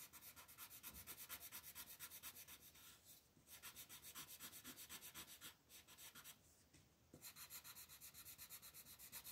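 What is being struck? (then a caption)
Coloured pencil on a paper coloring book page. A red colored pencil shades the crab's body on an open paper coloring book page lying on a table, rubbing and scratching back and forth in quick repeated strokes. About 33 bright, dry, papery scrapes come at roughly four per second, with two short pauses between bursts of shading.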